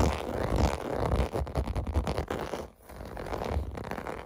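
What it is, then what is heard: Plastic bubble bath mat. Fingertips scratch across the raised bubble domes of a clear blue plastic bath mat resting on carpet. The result is a continuous, rough, low scraping rustle with rapid irregular ticks, briefly dipping quieter near the middle before resuming.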